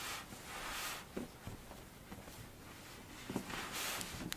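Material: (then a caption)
Sand. A mound of pink kinetic sand is cut into, then pressed and scratched with long blue-tipped nails and fingertips. Quiet, airy scraping swells rise and fade, broken by a few faint clicks and soft crunchy taps.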